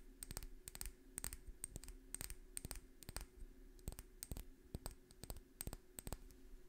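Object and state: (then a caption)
Small glass bottle tapped with fingernails. Long fingernails tap a small dark amber or green glass dropper bottle with a paper label, held in one hand. Quick, light, irregular clicking taps come in clustered bursts, each with a bright, glassy high tick that dies away instantly, over a quiet low background.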